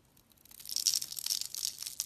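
A solid, hand-sized pink bar of soap with embossed lettering, held in the hand, is scored and cut with a segmented utility knife blade in scratching strokes. It makes a dry, bright, crumbly scraping that starts faint and grows louder after the first half second, with no low end at all.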